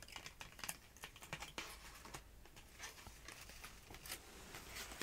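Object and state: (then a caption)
Cardstock paper banner. Short nails and fingertips scratch and tap the flat paper layers of a purple "5th" cardstock banner pennant with a layered star cutout, held close up. Dry, crisp scratching and quick papery taps fill the clip, with some speech in the background.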